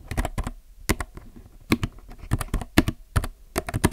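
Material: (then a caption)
Plastic. Both hands type steadily with their fingertips on a compact mechanical keyboard with plastic keycaps. Irregular, quick keystrokes give short, dry clacks with a thocky low body and bright click tops, each dying away almost instantly between bursts.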